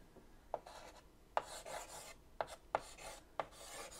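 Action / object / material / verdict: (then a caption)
scrape / chalk on a wood-framed chalkboard / chalk, slate / none. White chalk held in the fingertips scratches a word across a large flat black chalkboard in a wooden frame. Five sharp taps as the chalk meets the board stand out, each followed by a dry, bright, rasping stroke. The writing is quiet and irregular in rhythm.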